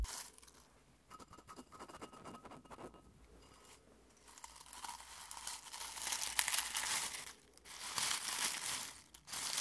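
Fingertips rub, scratch and crumple dry rose petals in a clear glass bowl full of dried rose petals. The result is a soft, bright crinkling and crackling that starts quietly, then swells into denser, louder rustling bursts with brief pauses between.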